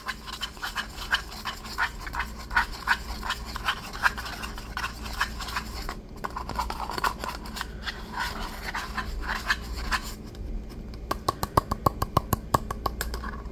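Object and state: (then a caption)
Empty paper cup. Fingernails scratch the side and bottom of a small, empty, hollow white paper cup with a blue and yellow pattern, making a fast run of dry scratches and taps that ring around 1 kHz over a steady low hum. Near the end, the strokes become sharper, more distinct clicks that quickly die away.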